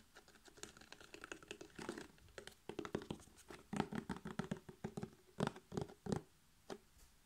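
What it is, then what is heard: Cardboard milk carton. A 1 L laminated cardboard carton of buttermilk, apparently full, is tapped quickly with fingertips and nails. Rapid, irregular bursts of short, dry taps and clicks carry a dull, hollow low tone around 240 Hz. Each tap stops almost instantly with no ring.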